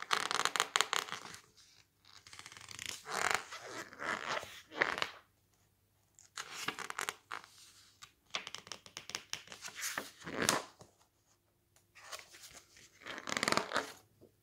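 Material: Coated paper.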